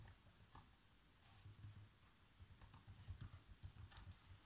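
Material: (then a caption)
Plastic. Fingertips type fast on the black plastic keys of a laptop keyboard. The quiet key taps are short, dull thuds with a low body and brief bright clicks, each dying away almost instantly.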